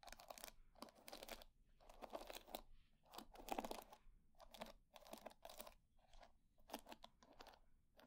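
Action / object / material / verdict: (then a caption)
scrape / wooden hair brush with wooden pin bristles / wood / none. Long nails scratch and flick through the wooden pin bristles of a wooden hair brush, making bursts of dry, crackly, bright rasping. The strokes come in short repeated flurries with brief quiet gaps between them, each one quick and clicky with no lingering ring.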